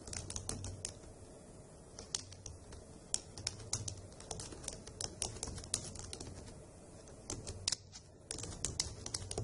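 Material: Plastic.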